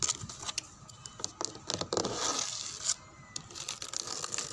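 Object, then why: Painted wooden door panel and frame. Fingernails scratch along a painted brown wooden door panel and its frame edge, where some of the paint is peeling. The result is a dry, bright, raspy scratching in quick irregular strokes, with short scraping bursts and brief pauses between them.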